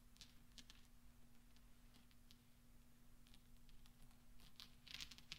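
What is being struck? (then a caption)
Small steel balls rolled together on cloth. Small solid steel pachinko balls on black velvet are swept and rolled together by fingertips. Soft, bright metallic clicks and ticks come in scattered bursts over a quiet, low steady hum, growing a little busier and louder toward the end.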